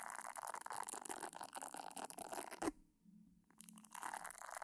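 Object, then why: Silicone facial cleansing brush. Long painted nails scratch across the soft silicone nubs of a hand-sized pink silicone face-washing brush with a round head, held beside the microphone without touching it. A steady, bright, crackly scratching peaks sharply, then falls almost silent for about a second before resuming.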